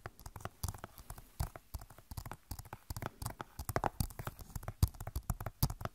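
Long nails tap rapidly on the back of a hollow plastic Overwatch game case. The irregular, quick clicks are short and dry, with a soft, low, hollow knock under each tap and no ringing afterward.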